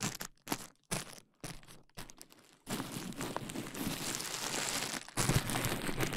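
A large sheet of clear plastic bubble wrap is draped over a microphone while fingertips and nails pinch and pop the bubbles at its side. Short, separate bursts of crinkling and sharp pops with brief silences give way to a steady, dense stream of crackling, snapping plastic that grows louder toward the end.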